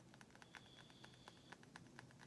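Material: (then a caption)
Soapstone. A vintage Chinese carved soapstone sculpture, decorated with a bird and etched flowers, is tapped repeatedly. It gives a quick series of light, dry clicking taps that die away almost at once, with a faint thin high tone running underneath for part of the clip. The piece is very heavy and pretty sturdy.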